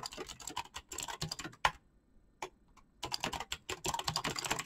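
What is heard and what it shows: Fast fingertip typing on a black mechanical keyboard with clicky switches and PBT plastic keycaps produces dense runs of sharp, bright clacks with a very short decay. One louder keystroke ends the first burst, followed by a near-silent pause broken by a single isolated key press. Then the rapid typing resumes in a steady flurry.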